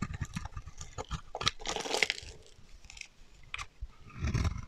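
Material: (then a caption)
Soap. A solid, dry, pale green bar of soap held in the hand is shaved with a metal utility knife blade, and flaky chips break off. The blade makes a rapid series of short, crisp crunches and scrapes with a bright edge, rising into a longer, denser scrape near the two-second mark. A low, fuller crumble follows at the end.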